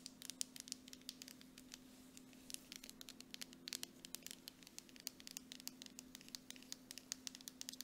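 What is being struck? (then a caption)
Plastic cosmetic jar with metal lid. A hand holds a medium, apparently full Dead Sea mud mask jar with a grey plastic body and a silver screw lid while long acrylic nails tap quickly on its side and base. The result is a fast, uneven patter of quiet, bright, dry clicks that stop almost instantly, over a faint steady low hum.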